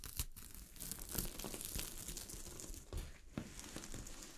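Long glittery fingernails scratch a sheet of fabric covered with small gold sequins. The result is a continuous, crinkly rasping and rustling, broken by sharper scraping bursts with a bright hiss. The sound stays quiet and close throughout, with a low, soft rumble underneath.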